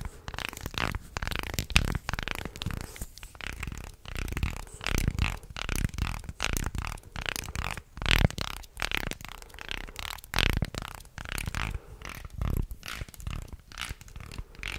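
A small light-wood shark guiro with a ridged body is held upright and sideways close to the mic while a stick and fingers scrape across its ridges. It makes a steady run of dry, ratcheting rasps in short bursts, with heavy low close-up rumble under a bright grainy edge and no ring after each stroke.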